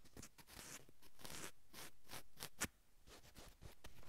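Long acrylic nails scratch and drag across a navy cotton sweatshirt on a man's upper back. The result is a series of soft, breathy, bright scraping strokes with a fabric rustle, broken once by a brief sharp click partway through.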